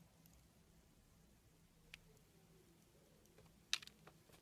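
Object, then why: Bar of soap cut with a small steel blade. A small steel blade carves curls off a long solid red bar of soap that is white inside. Over a quiet, faint background hum, three short, crisp, bright scraping clicks stand out, the loudest near the end, each stopping almost instantly with no ring.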